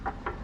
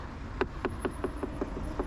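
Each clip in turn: First: metal motorcycle fuel tank. Second: plastic motorcycle fairing panel.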